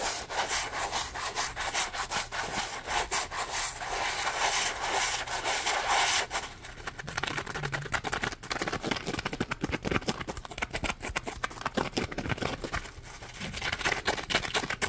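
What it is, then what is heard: Dry polymer foam sponge. A dry, hand-sized yellow Scrub Daddy sponge of solid, textured polymer foam is held in the hands and scratched and rubbed with the fingertips and nails. For the first six seconds there is a steady, bright, hissing rub. It then turns quieter, with rapid, crisp scratching strokes that keep going to the end.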